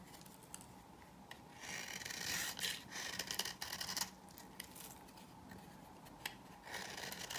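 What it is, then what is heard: Dry bar soap scraped with a knife. A knife blade scrapes and cuts the dry surface of a solid green bar soap held in the hand, shaving off powdery flakes. Quiet, bright, dry rasping strokes swell louder between about 2 and 4 seconds, with scattered sharp clicks in between.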